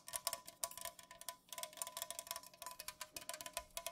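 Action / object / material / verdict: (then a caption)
tap / unopened aluminum drink can / aluminum / none. Long nails fast-tap across the surface of an unopened Pepsi aluminum can lying on its side on a pink fuzzy cloth. The result is a quick, uneven stream of bright, quiet metallic clicks with a faint ringing tone near 1 kHz that dies away almost instantly after each tap.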